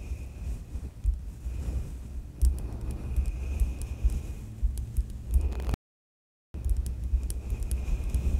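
A soft synthetic makeup brush rubs across the top of the hollow metal mesh grille on a black USB microphone. It makes a close, low, rumbling scrape with a throbbing pulse and faint bright ticks. The sound cuts to silence for under a second near the end, then the brushing resumes.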